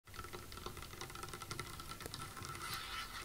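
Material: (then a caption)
Wood. Long acrylic nails and fingertips of both hands tap rapidly on a large, solid, dark, polished wooden tabletop. A dense, continuous patter of light, bright clicking ticks runs over a soft low knocking body, with the taps overlapping so closely that no single hit stands apart.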